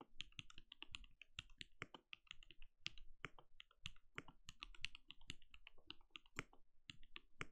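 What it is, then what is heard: Plastic mechanical keyboard. Both hands type fast with their fingertips on a compact backlit mechanical keyboard that has plastic keycaps and a translucent glowing case. Rapid, short, bright clicks come in a steady, uneven stream, each with a soft low thud underneath and almost no ring.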